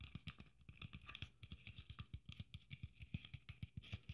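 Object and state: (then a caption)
Sequin Christmas ornament tapped with nails. Long nails tap and scratch quickly across a red sequin Christmas ornament with gold braid and a metal cap. About 29 short, dull taps come one after another, each with a soft low thump and a bright, crisp crinkle from the sequins. A faint scratchy rustle fills the gaps.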